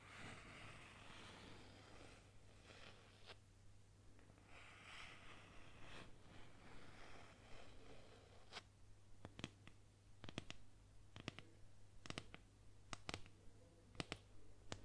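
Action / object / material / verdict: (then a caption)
scrape / wooden boomerang / wood / none. Long nails scratch and trace across a solid wooden boomerang about 40 cm long, painted with Aboriginal-style designs. Soft, airy scratching strokes fill the first half, then give way to a series of sharp, dry clicks and taps. A steady low hum runs underneath throughout.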